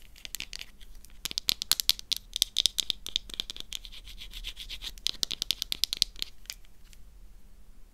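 A thin slice of black soap is squeezed, cracked and broken apart by fingers with long nails. Dense, bright crackles and snaps come in quick bursts, with sharp clicks standing out above a soft scratchy texture.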